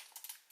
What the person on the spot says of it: something rattling inside can you guys hear that